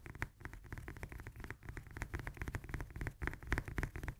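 Long nails tap rapidly on the peel of a whole, solid fresh lemon as it is held and turned in the hands. The taps are quick, dull and short, with a soft low thump under each one and faint bright clicks on top.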